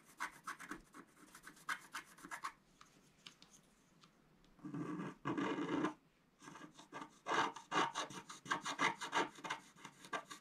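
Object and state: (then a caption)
Scratch-art card being scratched. A wooden stylus scratches a flat black-coated scratch-art paper card resting on a table in repeated strokes. Quick, bright, raspy scratches come in irregular bursts, broken near the middle by two longer, louder continuous rubbing passes before the short strokes resume.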